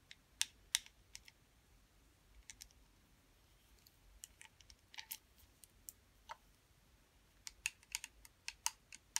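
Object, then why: Small round plastic putty container. Long metallic acrylic nails tap and scratch the lid and sides of a small, round, clear blue plastic putty container, sealed and full, held in both hands. Sharp, bright, high clicks with almost no ring come in scattered bursts, with brief soft scratches between them. The sound is quiet and thin, with almost no low end.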